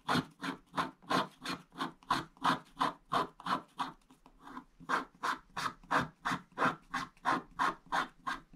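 A wooden stick scratches short strokes across a flat scratch-art page, a wax-style black coating over blue foil paper. About 24 brief, dry scraping strokes come in a fairly steady rhythm of roughly three per second, each a rasping burst centered around 1 kHz with a bright hiss on top. One stroke near the middle is softer and longer before the even rhythm resumes.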